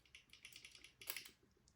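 Lever two of an ERA lever lock is lifted with a pick and taps freely in rapid, light, high-pitched metallic clicks, a run of quick taps with a brighter burst near the middle. The free tapping shows the lever is set in its true gate rather than bound.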